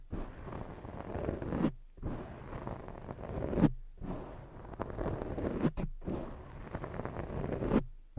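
Long fake nails scratch the sides and lower area of a black foam microphone windscreen, making a dense, muffled rustling scrape concentrated in the low and mid range. The scratching comes in four roughly two-second passes, each swelling slightly toward its end and separated by brief silences.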